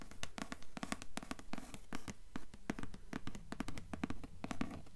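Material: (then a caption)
Cardboard. Long nails tap repeatedly on the dark grey cardboard hardcover board of a thick, solid book resting on a table. The result is a quick, uneven run of short, dry clicks with a low, hollow body near 200 Hz and bright, crisp tips that die away instantly.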